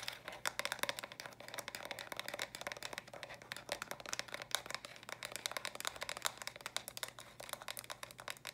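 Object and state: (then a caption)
Plastic stacking toy cube. A small hollow plastic stacking toy cube, built from pink, lilac and purple block sections, is held close and tapped and scratched quickly with long dark nails. The result is a dense, steady run of sharp, bright plastic clicks and light scratches with almost no low end.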